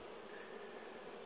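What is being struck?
Nothing is struck.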